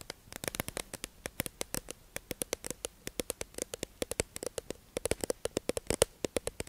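A hollow, clear plastic tube-shaped package holding makeup sponges, held in the hands, is tapped and scratched with long acrylic nails. About 47 crisp, dry clicks come in a quick, uneven stream, each with a bright snap and a faint hollow tone near 480 Hz that dies away almost instantly. Light scratchy rustle fills the gaps between the taps.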